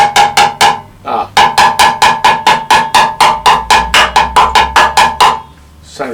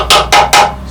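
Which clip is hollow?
The second.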